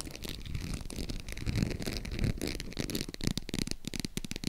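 Long acrylic nails tap and scratch the textured front of a small, hollow, green faux crocodile-embossed leather zip purse. A steady run of quick, dull taps with a low, hollow body is mixed with dry, bright scratching rasps, and each tap dies away almost at once.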